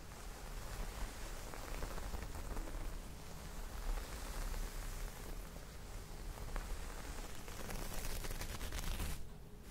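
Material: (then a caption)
Cotton. Long nails scratch across the pile of a soft, folded green cotton terry cloth towel. The result is a steady, dense, rustling scrape that is heavy in the low end with faint bright grit on top, continuing evenly before easing off quietly at the very end.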